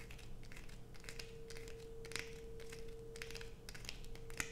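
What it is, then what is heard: Bar of soap being scraped. Long nails scrape a solid blue bar of soap held in the hands, sending shavings falling onto a pile. The result is a quiet run of dry, crackly scratches with bright, brittle edges over a steady low hum.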